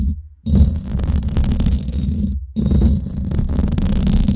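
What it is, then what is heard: Metal mesh microphone grille being scratched. Long nails scratch the hollow domed steel mesh head of a Blue Yeti microphone, seen from above, at fast and slow speeds. The result is a dense, rough, low rumbling scrape with crackly texture, broken by two brief near-silent pauses.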